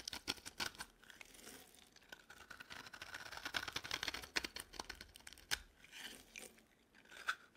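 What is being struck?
Bar of soap.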